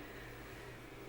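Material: Nothing is struck.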